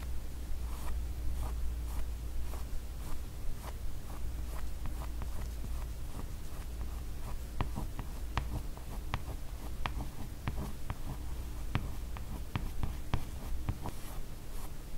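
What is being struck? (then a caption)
Glossy laminated cardboard hardcover book. Fingertips and long nails scratch and trace over the figures on the glossy laminated cardboard cover of a large, solid hardcover "Lady S" comic album. The result is soft, dry scratching over a steady low hum, with short, sharp nail clicks growing more frequent in the second half.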